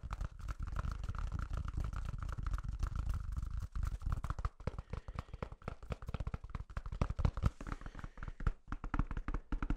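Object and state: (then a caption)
Toilet paper roll. A large white toilet paper roll with a hollow core is tapped and scratched on its flat end and sides with fingertips and nails. The first half is a steady run of dense scratching with a faint mid-range tone; the second half breaks into quick, separate taps. Each tap is a dull, muffled low thump that dies away almost instantly.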